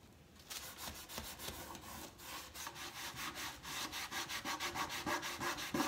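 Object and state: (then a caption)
Wooden crate being sanded. A large, hollow, empty wooden crate-style box stand with white-washed slat sides and X braces is held steady at the top by one hand while the other rubs its side panels with sandpaper or a cloth. After a brief quiet start, steady back-and-forth rubbing strokes come about three per second, each a bright, breathy scrape over the wood. The strokes grow slightly louder and more regular toward the end.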